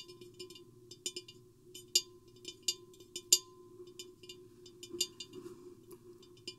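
Long painted fingernails tap both sides of a medium-sized, hollow, empty silver-mirrored glass vase with a square hourglass profile, with the microphone lowered inside; a nearby green bottle is not touched. The taps come in an irregular series of quick, bright, clicky ticks that die away almost instantly, over a steady faint hum.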